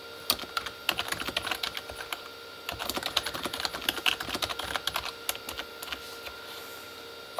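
Both hands type with their fingertips on a full-size Corsair K35 backlit plastic mechanical keyboard, with plastic keycaps on a hollow plastic body. Quick, bright, clacky taps come in dense bursts, with a brief pause near the middle, then fade out toward the end over a faint steady hum.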